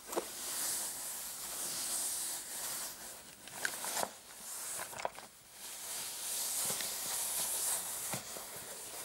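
Short painted fingernails scratch the surface of a soft, dark patterned fabric clutch purse with a metal frame lying on a mat. The result is a steady, bright, hissing rasp, broken by a few sharper ticks and brief quieter pauses.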